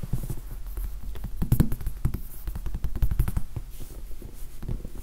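A large, soft, solid red foam sponge die with black pips is tapped and scratched with the fingertips close to the microphone. Soft, dull thumps and brushing scratches repeat in a continuous, uneven run, with most of the energy low and a faint bright hiss above.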